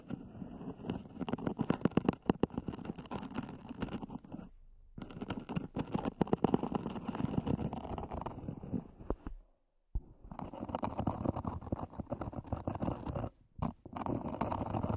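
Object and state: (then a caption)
Hard-shell earphone case scratched. Fingernails scratch the lid and edges of a small, black, zippered, hollow EVA hard-shell earphone case. The result is a dense, continuous run of dry, rapid scratching and rasping with a hollow, low-mid body. It breaks off in brief silences around 4.5, 9.5 and 13.5 seconds before resuming.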